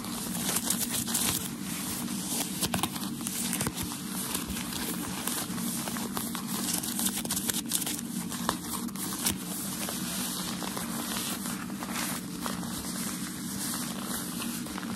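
A small crumpled wad of white shoe packaging paper is held close and scratched and squeezed with fingertips and nails. It makes a steady, continuous crinkling and crackling with many sharp snaps over a constant low hum.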